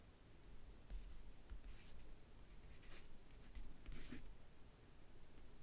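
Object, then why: Faux-leather-covered backgammon case. Painted nails and fingertips tap and scratch the lid of a closed, hollow rectangular backgammon case covered in map-print faux leather, near its lower edge. The sound is quiet, soft scratching with light taps: brief, bright, raspy bursts over a low, steady rumble.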